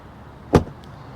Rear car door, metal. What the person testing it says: on sent que la porte est lourde on l'a en main écoutez le bruit ça sonne fort